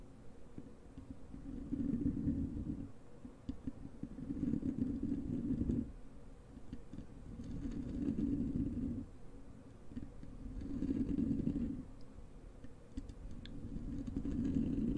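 Long acrylic nails of both hands scratch the soft, porous black foam windscreen over a large desktop microphone. The result is a muffled, low rumbling scratch centered around 230 Hz that swells and fades in waves every few seconds, with almost nothing bright on top.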